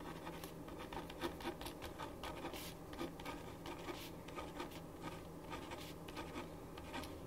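A ballpoint pen writes on a thin printed paper sheet lying flat on a wooden desk. Steady, soft scratching strokes with brief bright, rasping bursts repeat over a low, even background hum.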